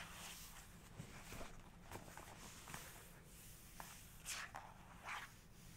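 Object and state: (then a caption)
Glossy paper book page. Fingertips and long nails trace and tap across the glossy paper of an open photography book spread showing a black-and-white horse photograph. Soft brushing and scratching sounds are heard over a low background rumble, with a few sharper, brighter taps and swipes toward the end.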